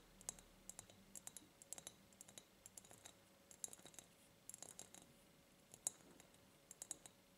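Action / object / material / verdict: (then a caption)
tap / ribbed glass jar / glass / none. Long nails tap and click on an empty ribbed clear glass jar in close-up. The result is a quiet, irregular run of sharp, bright clicks with very short ring, dominated by high frequencies, plus faint scratchy brushes between the taps.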